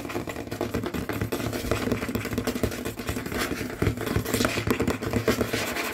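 A large solid dark wooden tabletop is tapped and scratched rapidly with the fingernails and fingertips of both hands, with rings on the fingers. The result is a dense, continuous stream of quick knocks, low thuds and dry scraping, steady in level with short, dull rings after each tap.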